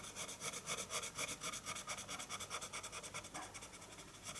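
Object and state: Pencil hatching on paper.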